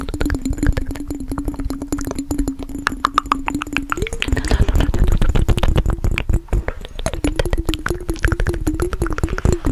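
Fast tapping on a glass mason jar containing water makes a rapid stream of short, dull taps over a steady low ringing tone that shifts slightly in pitch partway through.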